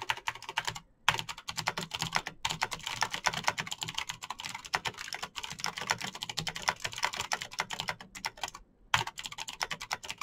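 Fingertips type fast on a Razer BlackWidow backlit plastic mechanical keyboard with clicky green switches. A dense stream of sharp, bright clicks and taps rattles on, broken by a few brief pauses.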